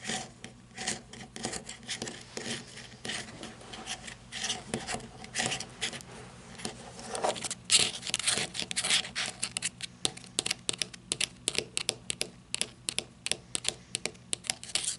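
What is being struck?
Flashlight with ribbed rubber grip.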